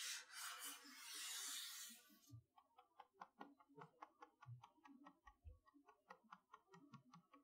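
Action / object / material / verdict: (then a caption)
tap / cardboard toy box with plastic window / cardboard / none. A large printed cardboard retail box for a Mickey Mouse magnetic chalkboard, with a clear front window, is held upright and is probably empty of loose items. About two seconds of bright, hissing noise give way to around nineteen quick, irregular taps from long nails and fingertips on the box front. The taps are short, crisp clicks with high, bright tops and an occasional duller thump.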